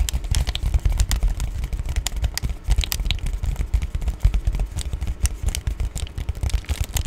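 Long painted nails tap and scratch the white bubbly back side of an Amazon Prime padded poly bubble mailer. Rapid, uneven taps and crinkly scratches run throughout, with soft low thumps under short bright clicks that stop almost instantly.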